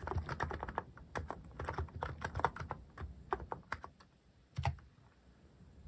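Fingertips type continuously on a mechanical keyboard fitted with plastic cat keycaps, producing a run of short, dull clacks with a soft low thump. The keystrokes come in quick bursts with brief pauses, then a final cluster near the end.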